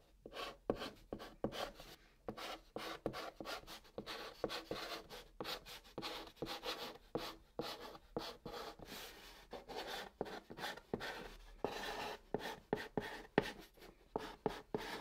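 A white chalk stick held in the fingertips writes Korean letters on the top of a large, flat, hollow brown cardboard box, scratching the surface. Quiet, dry, raspy strokes follow one another in quick bursts separated by short gaps, with a mid-range scratch that turns brighter on the faster strokes.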